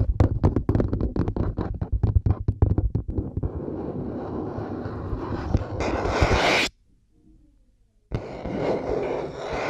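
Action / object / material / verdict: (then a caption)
tap / plastic headphone headband / plastic / none. Long nails scratch and tap the white plastic headband of over-ear headphones resting on a binaural mic, then tap the earcups. A fast run of dull, bass-heavy taps gives way to a steady scratching that swells into a brighter, louder scrape. After about a second and a half of near silence, the rough scratching resumes.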